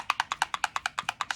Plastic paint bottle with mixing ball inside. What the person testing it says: Hear that little ball in there? That's how you shake it up. You know it's shaking.